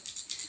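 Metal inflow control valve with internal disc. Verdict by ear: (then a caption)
Loose. An autonomous inflow control device valve is shaken, and its loose levitating disc rattles inside, the free movement the design relies on to lift and choke gas or water flow. Three quick, bright, high-pitched clicks are heard, with nearly all energy above 2 kHz and almost no low end.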